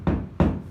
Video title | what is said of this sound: 7-8-2020 Problèmes avec propriétaire de logement insalubre depuis 3 ans | si je tape au plafond ça sonne creux dans toutes les pièces parce qu'en fait il ya pas de plancher